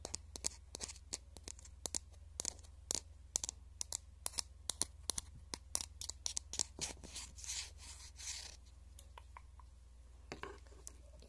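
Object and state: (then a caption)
Plastic highlighter pen. Fingertips and nails rub and scratch along the hollow barrel of a pink plastic highlighter marker. The result is a quick, uneven run of sharp, bright ticks and scrapes, with a longer, softer rubbing swish in the middle of the clip. A steady low hum sits underneath throughout, and the overall level is quiet.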